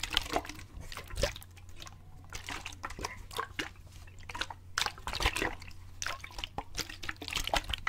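A clear plastic water bottle with a gray cap, partly filled with water, is shaken and turned in the hands near the cap so the water splashes inside. Quick bright sloshes and drips come in uneven bursts over a low steady hum.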